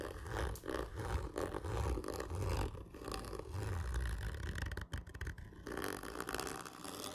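A single hand scratches hard and slowly with its fingernails along a large, hollow, black printed cardboard whisky gift tube lying horizontally. The scraping comes out as a continuous, rough, hollow rumble with a deep resonant body and little high-end brightness, swelling and easing with each stroke.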